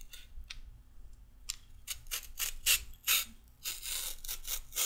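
A handheld peeler is drawn along a raw carrot in quick scraping strokes, taking off thin orange strips. Each stroke is a short, bright, rasping scrape, coming in an irregular rhythm that grows louder and denser toward the end, over a faint low hum.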